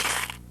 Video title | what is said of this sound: Dogs VHS | the classic that you've heard about is the shake can this is a soda can filled with pennies